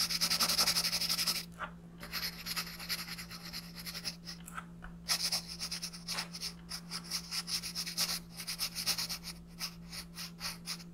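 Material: Paper.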